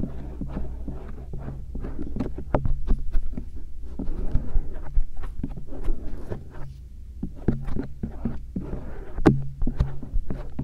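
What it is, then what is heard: Silicone ear microphone scraped. A thin stainless steel earpick scrapes along the folds of the soft silicone ears of a binaural microphone. The result is a steady stream of muffled, low, rumbling rubs, broken by quick dry scratchy ticks and brief bright crackles.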